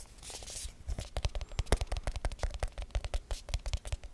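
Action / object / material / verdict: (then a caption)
tap / small aluminum tin with lid / aluminum / none. A small round hollow aluminum tin with a lid, held in the hands, is speed-tapped and scratched with fingertips and nails. A brief bright scratching hiss opens the clip, then about two dozen quick, irregular taps follow, each a short dull low thump with a crisp click on top that dies away almost at once.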